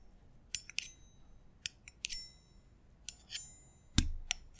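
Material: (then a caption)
Stainless steel. A small, hollow, empty hammered stainless steel double bar jigger, held near the mic, is tapped ten times by fingers wearing metal thimbles at an uneven pace. Each tap gives a bright, high metallic ring that fades quickly, and one later tap lands with a heavier low thump.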